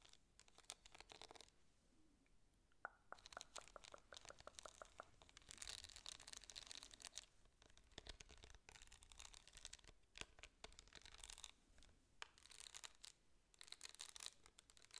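Long nails scratch and tap across the rhinestone-studded face of a small, hand-sized, rhinestone-covered metal flask case. The result is a quiet, bright, crackling texture of rapid clicks and scratchy bursts, with short pauses between passes.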